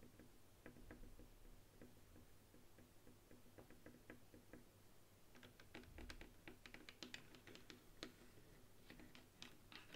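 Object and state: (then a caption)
Plastic game controller. Long nails tap rapidly on the buttons and body of a white plastic game controller lying flat on a table. Quiet, dry clicks and taps come in an irregular, fast stream with a low hum underneath, turning brighter and sharper in the second half.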